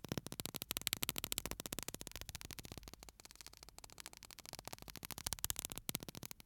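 A small glass bottle full of pale sand with a metal cap is held upright in one hand and shaken so the sand moves inside. It makes a dense, bright, gritty rattle of rapid grains ticking and hissing against the glass. The rattle eases in the middle before growing busier again toward the end.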